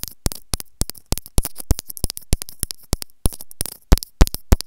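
Long nails scratch and tap along the housing of a small white plastic earphone inline microphone held in the fingers, producing rapid, irregular clicks and scrapes. Each stroke is a short, crisp, bright snap over a faint low rumble, with no ring between hits.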